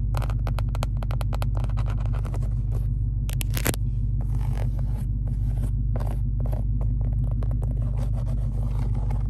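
Long acrylic nails trace, scratch and tap on the embossed Hellcat logo of a large, padded black leather seat backrest in a Charger Hellcat. Quick, uneven taps and scratchy brushes sit over a steady, loud low hum that lasts the whole clip.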